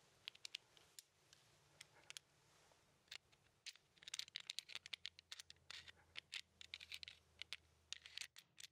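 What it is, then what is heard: Plastic 15 sliding puzzle. A small plastic 15 sliding puzzle with red and white tiles is held in the hand while fingertips and nails scratch and tap across the tile surface. The result is a quiet, rapid series of sharp, bright clicks and dry scratches that die away instantly, with almost no low end.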